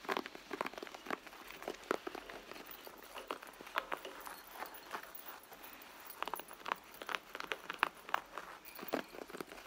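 Long blue nails tap and scratch the side of a red leather handbag, which sounds hollow and soft. Quiet, dry, short taps arrive in irregular bursts over a soft scratchy rustle, centered in the midrange with a little bright hiss and no low end.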